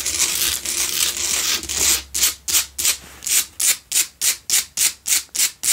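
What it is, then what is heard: Salt block candle holder being scratched. Long pale-blue nails scratch fast across the face and sides of a lit, solid pink Himalayan salt block double candle holder. A continuous bright, dry rasping gives way to a quick run of separate short scrapes, each cutting off sharply with almost no low end.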